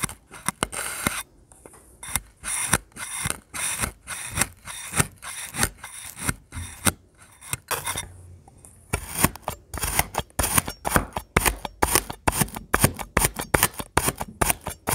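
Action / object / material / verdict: scrape / kinetic sand slab cut with a metal knife / kinetic sand / none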